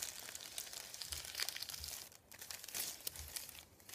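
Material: Paper.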